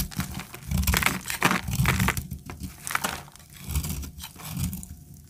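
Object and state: Dry soap bar cut with a blade.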